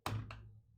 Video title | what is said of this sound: Pixels January Livestream | if you ever roll one you can tell immediately and it has this this really terrible rolling sound